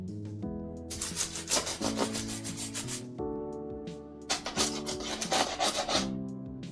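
A knife cuts into a freshly baked loaf of bread, and the crust gives off bursts of grating, crackling noise over a sustained musical tone. The crust sounds crisp and well baked.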